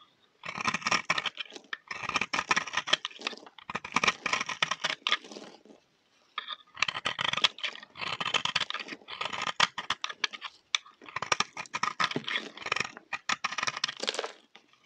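A solid, round, pale yellow bar of dry soap, held in the hand, is shaved with a utility knife blade into curled flakes. Bursts of dry, bright scraping and crunching follow one another, with a short pause near the middle.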